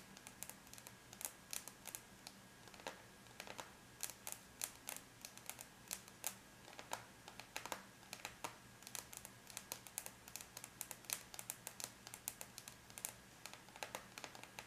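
Long bare natural nails of both hands, with the fingers curled, tap lightly on a closed silver aluminum laptop lid, a flat, thin, hollow-backed metal shell. The result is a quiet, steady stream of rapid, bright, clicky ticks that stop almost instantly, over a faint constant low hum.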